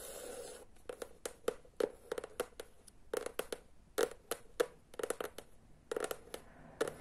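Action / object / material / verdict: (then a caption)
tap / small hardcover book with cardboard cover / cardboard / none. Long nails tap and scratch the edges and front of a small, solid hardcover children's book with a teal cardboard cover and illustration, held upright. A brief scratchy rustle opens the clip, followed by a quick, irregular series of short, dry, hollow taps with a mid-pitched knock around 480 Hz and bright clicky edges. Each tap dies away almost instantly.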